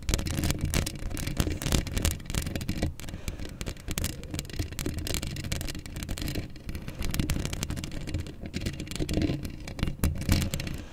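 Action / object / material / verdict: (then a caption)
scrape / steel mesh microphone grille / steel mesh / none. Long acrylic nails on both hands scratch a hollow steel mesh microphone grille up close, producing a dense, continuous scraping texture. Heavy low rumble dominates the sound, with rough, crackling scratches and brief brighter flicks on top. The sound stays steady for the whole clip, with small surges in loudness.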